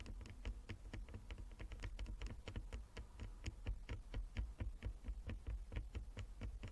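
Long nails of both hands tap rapidly across a flat wooden chess board with inlaid squares, producing a quick, irregular patter of short, dry clicks. The taps overlap in a steady stream over a quiet, low hum.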